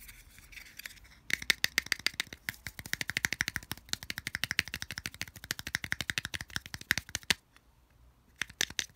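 Fingertips quickly tap and scratch on the flat printed back of a small, hollow white plastic earphone case held label side up in the palm. A rapid run of dozens of dry, bright clicks centred around 1.8 kHz is heard, with almost no ring. The tapping pauses briefly near the end, then resumes with a few more taps.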